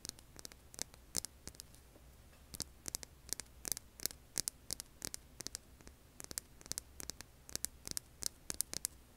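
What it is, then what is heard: Rough stone rock. Long nails scratch the grainy surface of a hand-sized, solid, rough tan rock held in both hands. The result is a rapid, irregular series of short, dry, bright scratches and ticks that die away almost instantly, over a faint steady low hum and hiss.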